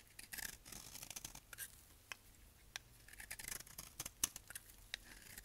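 A solid tan household-style dry soap bar is held in the hand and shaved with a utility knife blade, sending thick flakes off. It makes quiet, crisp, bright scraping and crackling strokes in short dry bursts with almost no ring, over a faint low hum.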